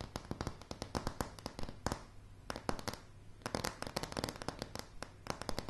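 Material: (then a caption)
Wood. Long polished nails of both hands tap rapidly on a light, solid wooden plank floor. Dozens of sharp, dry clicks come in quick bursts, each with a bright tick and a soft low knock that dies away almost instantly. The tapping eases into brief quieter gaps around the middle before picking back up.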